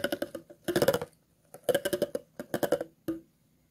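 A thin metal tool scrapes across the ridges of an empty, hollow, clear plastic water bottle, making short bursts of rapid, dry clicking ticks. The ticks have a hollow, woody ring around 550 Hz with bright edges, and they come in clusters separated by brief silences.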